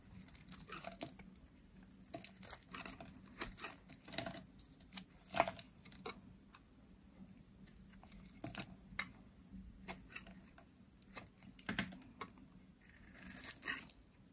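A hand-sized, orange, solid dry soap bar is carved into crumbly curls with a metal utility blade. The sound is a quiet series of dry, crisp scrapes and crunchy crackles, with short bright bursts where the blade bites in. A faint low hum sits underneath throughout.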